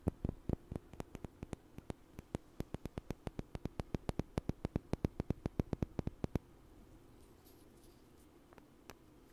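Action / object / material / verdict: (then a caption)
knock / two small wooden blocks / wood / none. Two small, solid, light wooden blocks, one held in each hand, are knocked together in front of the mic in a quick, steady series of short, dry clacks that stop after about six seconds. A quiet hiss remains, with one faint tap near the end.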